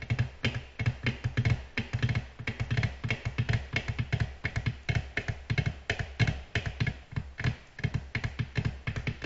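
Long natural nails from both hands, moving close together, gently and rapidly tap a flat, solid, reflective black glass tabletop, with light nail scratching between taps. Each tap is a short, dry click with a soft low thump beneath a bright, crisp edge, dying away almost instantly. The taps fall in quick, uneven bursts throughout the clip.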